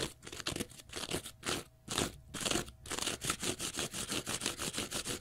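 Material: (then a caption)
Cellulose. Fingernails scratch a small, pale green, porous cellulose sponge block, making rapid, uneven strokes. Each stroke gives a dry, bright, crunchy rasp that stops quickly. The strokes come closer together and more evenly toward the end.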